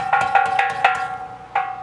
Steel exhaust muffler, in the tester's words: If you hit it hard enough, you can hear the stuff moving around.